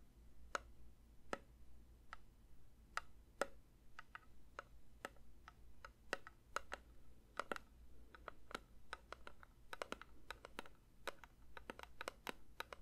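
A metal candle tin is lightly tapped with the fingers, giving about 40 short, bright, quiet ticks at an irregular pace. Each tap dies away almost instantly over a steady low hum.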